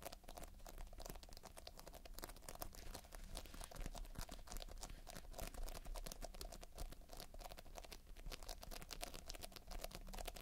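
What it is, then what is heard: Polystyrene bead playfoam being kneaded. Fingertips knead, press and scratch a solid, soft mound of sticky multicolored polystyrene foam-bead playfoam. The result is a dense, quiet stream of tiny crackling, crinkling clicks over a steady low rumble, with brief bright ticks throughout.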